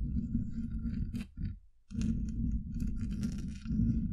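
Long acrylic nail tips tap on a hollow, domed steel mesh microphone grille, producing a dense, crunchy stream of muffled taps that is heavy in the low end with faint bright clicks above. The tapping drops to near silence for a moment before resuming just as dense to the end.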